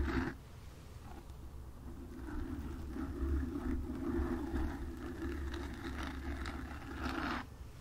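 Long nails lightly scratch the top and sides of a black foam windscreen on a desktop microphone. The result is a steady, close, muffled rustling scrape with a low rumble and a soft mid-range hum, after a brief brighter scratch at the start. The sound swells slightly in waves and then drops away near the end.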